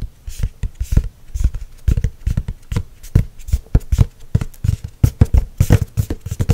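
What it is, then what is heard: Laminated hardcover notebook. Long nails tap quickly and irregularly on the glossy laminated cover of a hardcover spiral notebook, a solid board. Each tap is a short, dull, low thud with a faint bright click and almost no ring.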